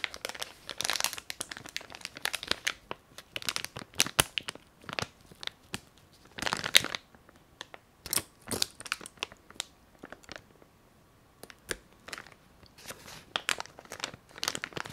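A hand-sized green printed plastic packaging bag for "Colle Classic" glue sticks, still holding its contents, is crinkled and squeezed by fingers with long nails. The result is bright, crackly crinkling in irregular bursts of sharp rustles, with brief quiet pauses between squeezes.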